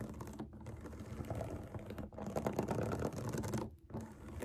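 Long acrylic nails scratch and tap the bubbles of a large round rainbow silicone pop it fidget toy resting on a table. The result is a dense, fast stream of soft scratchy clicks and taps, mostly low and midrange with little brightness, broken by brief pauses around half a second, two seconds and just before four seconds.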